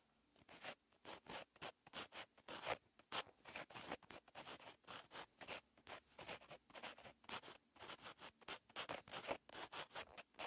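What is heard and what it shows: A white-barrel purple gel or marker pen, held in the fingertips, writes on a lined paper notebook page lying flat on a pad. Its tip scratches across the paper in a quick, steady series of short, bright strokes with brief pauses between them. The sound is dry and crisp, with almost no low end and no ring after each stroke.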